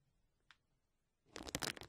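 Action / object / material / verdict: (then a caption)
scrape / plastic bubble wrap sheet / plastic / none. A clear plastic bubble wrap sheet lies flat while the fingertips and nails of both hands scratch and rub across its bubbles. After a quiet start and a single faint tick, a burst of bright, dense crinkling and scratching rises and flickers for the final half second.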